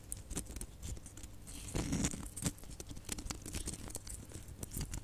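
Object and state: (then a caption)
Plastic Christmas baubles scratched and tapped. Long nails scratch and tap a cluster of small hollow red glitter plastic Christmas baubles with gold caps. A quiet, steady stream of crackly, papery scratching is broken by light, bright ticks and taps, with a denser, louder burst of scraping near the two-second mark.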